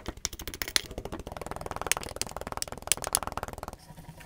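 Green kinetic sand balls in a tall clear glass mug are crushed and packed down with a black tamper tool while a gloved hand holds the glass. A rapid, dense stream of bright, crisp crackling and crunching clicks fills most of the clip, with a few sharper snaps standing out. The crunching stops near the end, leaving a soft, quiet hiss.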